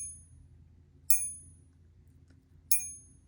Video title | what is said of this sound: I bought fake silver on EBay. And some pickups for the stack. | got a much nicer ping. So that's the sound we want to hear, the silver sound there.